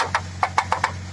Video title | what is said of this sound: Usaha Daur Ulang Plastik, Wajib Tahu !!! | kalau dipukul pakai ini tuh suaranya Udah jelas beda